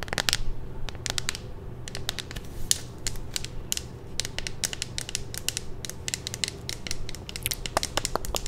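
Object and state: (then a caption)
Clear plastic phone case. A hollow clear plastic phone case with a pink ring, held in the hand, is tapped and scratched with long nails. Quick, dry, bright clicks and scrapes come in irregular clusters throughout, each dying away instantly with no ring. A steady low hum sits underneath.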